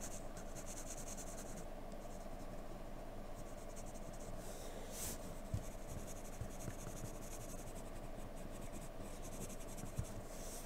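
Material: Paper.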